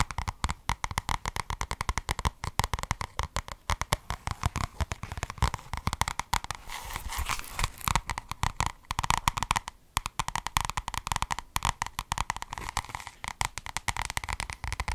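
Long red acrylic nails rapidly tap and scratch the cover and edges of a medium paperback book with a white and red paper cover ('niederle media'), held up close to the microphone. The result is a dense stream of short, dry clicks with a papery tone around 1 kHz. Softer scratching passes around the middle of the clip break up the tapping.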